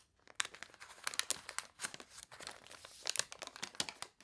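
Fingernails scratch the wavy, water-warped paper pages of a toy catalog, and the pages are turned. Dry, bright crinkling and crunching rustles come in quick bursts with sharp scratchy peaks and almost no low end.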